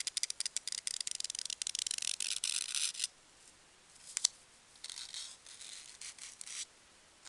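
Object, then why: Expanded polystyrene packing peanut. A single small, light-green, solid expanded-polystyrene packing peanut is held between fingertips and squeezed and rubbed with long dark-painted nails over an open box of peanuts. A fast run of bright, dry squeaking crackles fills the first three seconds, then after a short pause comes one sharp click and a few softer, hissy rubbing bursts. The sound is almost entirely high-pitched, with no low end.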